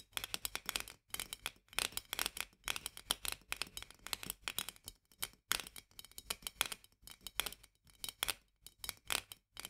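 Long nails tap and scratch rapidly on the metal lid and upper glass of a full glass jar of mandarin marmalade held in both hands. The result is dense bursts of bright, crisp clicks and scratchy ticks with almost no low end and no ring, separated by brief pauses.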